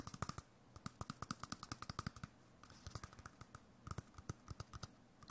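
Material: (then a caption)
Cardboard. A small hollow white cardboard tube, likely a toilet-paper core with a face drawn on it in pen, is held up and tapped rapidly with the fingertips. About 35 quick, dull, hollow taps land in uneven bursts with a brief pause midway, each thump short and dead with no ring.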